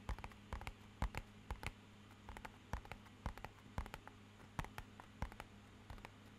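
Fingernails and fingertips tap rapidly on the faces and edges of a small, rigid, hollow, matte-black rectangular cardboard box. The sound is quiet, short, dry clicks in uneven bursts with brief pauses. A steady low hum runs underneath.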